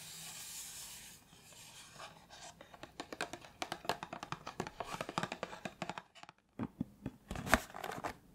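A closed, small printed cardboard box of Iris body cream is held in the hand while long nails tap and scratch its sides. After a soft, airy rustle at the start, a rapid series of short, dry clicks and scrapes follows, with a few louder taps near the end.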